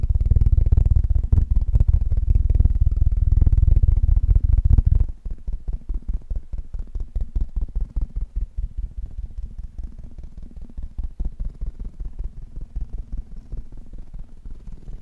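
Fingertips of both hands tap fast on the hollow metal mesh grille head of a black Blue Yeti USB microphone. For the first five seconds the taps are loud, dense and boomy, running together into a deep rumble. After that the drumming drops to a quieter, steadier patter of short, distinct low thumps.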